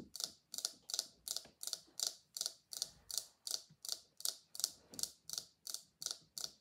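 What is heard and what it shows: A small pink silicone scalp massager is held in one hand while the long nails of the other hand flick and tap its bristles repeatedly. Eighteen quick, bright, snappy ticks follow one another in a steady rhythm, each fading almost instantly, with nothing low in the sound.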